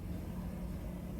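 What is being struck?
Nothing is struck.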